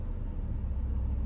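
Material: Nothing is struck.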